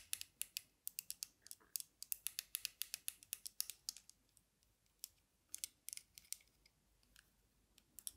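Long nails tap the dark lenses and metal frame of aviator sunglasses held in both hands, then fiddle with the metal arms. The result is a rapid run of sharp, bright, dry clicks with almost no low end, dense for the first four seconds, then thinning into scattered ticks.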